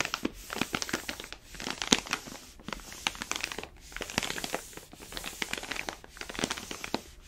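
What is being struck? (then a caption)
Paper-foil coffee bag filled with beans. A palm rubs and squeezes the paper surface of an orange paper-foil coffee bag full of beans. Dense, bright crinkling and crackling comes in bursts separated by brief pauses, with sharp snaps throughout and very little low end.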